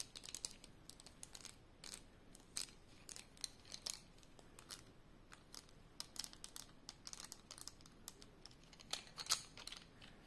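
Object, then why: Bundle of wooden pencils. A handful of about six painted wooden colored pencils, solid thin sticks held in both hands above a coloring page, are clicked and rattled against each other and tapped with long yellow-painted nails and fingertips. The result is a quiet, steady stream of short, dry, bright clicks and ticks that die away almost instantly, with very little low end beneath them.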